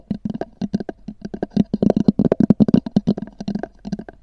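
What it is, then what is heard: Textured hard-shell EVA case. Long nails tap and scratch the top of a small black oval hard-shell EVA zip case with a textured fabric cover, which rests hollow on a fur rug. A rapid, uneven run of short, dry taps gives a hollow low-mid knock around 200 Hz with a faint scratchy edge. Each tap dies away almost instantly.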